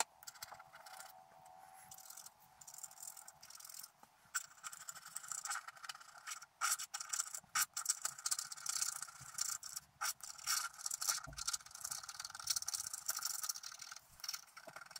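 A wooden stylus scratches the coating near the lower part of a flat coated scratch art paper card. The sound is a dry, bright, hissy scraping made of many quick strokes with short pauses. It has almost no low end, and each stroke stops dead with no ring.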